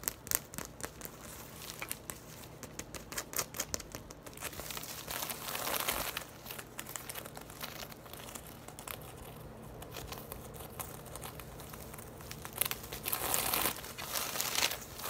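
Long nails and fingertips scratch and tap quickly across the weave of a large, hollow, braided straw tote bag standing upright. The result is a dense, bright, crinkly rasp with irregular light taps. It swells louder around the middle and again near the end.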